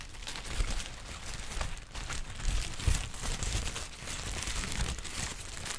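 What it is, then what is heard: Crinkled tissue paper. A large, thin sheet of yellow-green textured tissue paper is held up and crinkled with the fingertips of both hands. The result is a steady, bright crinkling and crackling, with sharper crunches standing out now and then over a soft low rustle.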